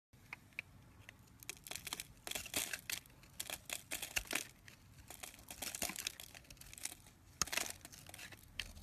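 A round, solid, hand-sized white soap bar with red inclusions, held in fingers with short painted nails, is scraped and carved with a knife blade. Its shavings crumble off onto a pile below. The result is quiet, bright, crisp crackling and crumbling bursts in irregular clusters, with only faint low end.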